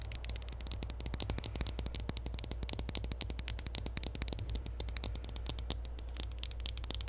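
A partly full clear glass perfume bottle with a pink ribbon decoration is tapped and scratched with long nails. The result is a rapid run of short, bright clicks and taps with faint high glassy ringing that dies away almost at once, over a steady low hum.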